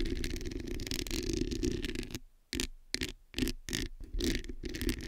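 Long nails scratch the hollow metal mesh head of a black microphone, making a close, rasping scrape with a boomy low end and a tonal band near 340 Hz. About two seconds of continuous scratching give way to short, separate bursts of scraping broken by near-silent gaps.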